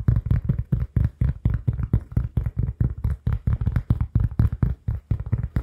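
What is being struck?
Cork oval pad.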